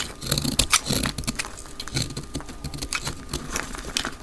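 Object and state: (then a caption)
Dry soap bar being cut. A utility knife blade cuts flakes from a solid pink speckled dry soap bar held in the hand, played at double speed. Quick, dry, crisp scraping and crackling strokes follow one another rapidly, bright and brief with almost no ring.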